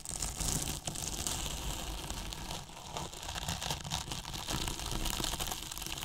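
Flat paintbrush bristles rub and scratch the surface of a large, hollow white polyethylene foam box with a microphone inside. The result is a steady, dense crinkling scratch with a bright hiss on top and a hollow, boomy low rumble underneath, lasting the whole clip with only slight dips in loudness.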